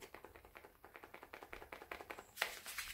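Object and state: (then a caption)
Dry borlotti bean pod, beans loose inside. A dried borlotti bean pod is shaken, and the loose beans rattle inside in a rapid series of short, dry clicks, ending with a brighter, louder rattle. The loose beans show the pod is dry and ready for podding and storing.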